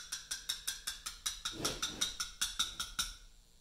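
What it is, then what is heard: Mallet striking a chisel on a limestone block. A small round mallet taps a steel chisel into the surface of a large solid Portland limestone memorial block, cutting letters. Sixteen sharp, bright metallic taps come in a steady rhythm with a clear ring near 3.7 kHz that fades quickly after each strike. A duller low rumble rises briefly in the middle, and the taps soften toward the end.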